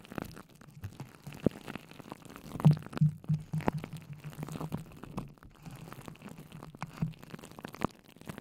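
Fingertips with long nails dig into and squish a clear plastic bowl full of wet, colorful hydrogel water beads set on top of a microphone. The result is a steady, irregular run of soft, low, wet squelches and muffled crunches with occasional sharper pops, almost all of the sound sitting in a low, thick register.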